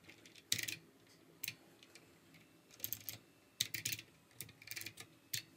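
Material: Plastic.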